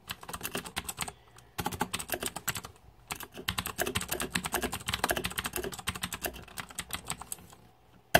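Fingertips type on a green-backlit Razer 2014 Deathadder mechanical keyboard with plastic keycaps, giving rapid, bright, short clicky keystrokes that die away almost instantly. The typing comes in bursts, with brief pauses near 1.3 and 3.1 seconds, and ends on one sharper, louder key press.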